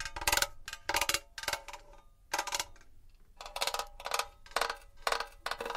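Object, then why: Metal box. A metal box is tapped and scratched with fingernails, giving a series of short, bright, scratchy bursts with a faint metallic tone around 1.5 kHz. Each burst dies away almost at once, with brief quiet gaps between them and very little low end.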